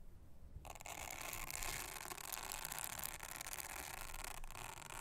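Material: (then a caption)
Silicone. Toothbrush bristles are scrubbed across the honeycomb cells of a round, thin, solid blue silicone honeycomb trivet mat. After a brief near-silent moment, a steady, bright, scratchy scrubbing starts and continues without a break to the end, with faint low rumble underneath.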